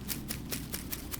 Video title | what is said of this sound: Start the Ram Pump for 2023 | If I tap this line, it's full.